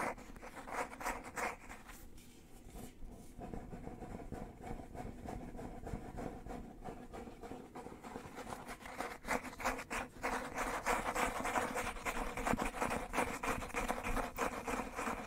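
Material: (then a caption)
Book cloth. Fingernails scratch and rub the textured cover board of a black cloth-covered hardcover book held in both hands. The result is a rapid, fairly steady run of dry, papery scratching strokes, with a quieter stretch early on. The strokes grow louder and denser in the second half.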